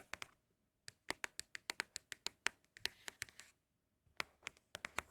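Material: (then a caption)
Cardboard. Empty Apple product cardboard boxes are tapped with quick, irregular fingertip taps. The taps are short, dry and bright, with almost no low end, and they come in bursts separated by brief pauses. The boxes sound especially good when tapped.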